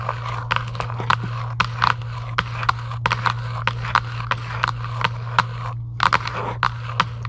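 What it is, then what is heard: Cardboard card box tapped with fingernails. Long acrylic nails tap and scratch across the surface of a flat printed cardboard UNO card box lying on a table, its contents empty or not visible. Quick, dry clicks with a papery knock around 1 kHz come in an irregular stream, with brief scratchy rustles between taps. A steady low hum runs underneath throughout.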